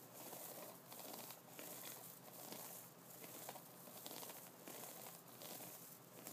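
Fingers of both hands scratch and flick the bristles and nubs of an upright wooden brush. The result is a soft, continuous crinkly scratching with brief brighter flicks rising out of it every second or so.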